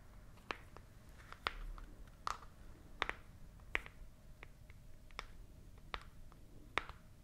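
Long nails tap and scratch a small, hollow, white printed cardboard product box held up close to the mouth. Sharp, dry clicks ring out one by one at a slow, uneven pace. Soft scratchy rustles sit between them over a low, quiet background.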